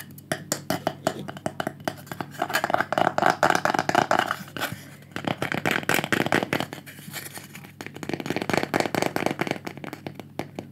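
Fingertips and painted nails tap rapidly on a small, thin, solid rectangular light-wood pyrography panel with burned flower drawings, held in the hands. The result is a dense run of short, dry, clicky taps with a mid-pitched woody tone and almost no ring, growing louder in bursts.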